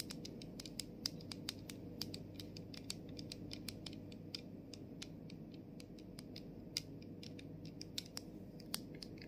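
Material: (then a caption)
Plastic. Long nails tap the body and clear plastic cap of a plastic body mist bottle while the bottle is tilted. Many quick, sharp, bright clicks come in uneven bursts over a steady low background hum, each tap dying away almost instantly.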